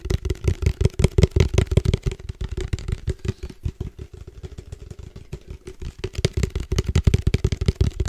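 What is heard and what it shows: Fingertips tap quickly on the side of a hollow black plastic padel ball tube with a red logo, held upright. The result is a rapid run of short, dull, low thuds with a faint hollow tone and almost no ring. The taps start loud, soften through the middle, then grow strong again toward the end.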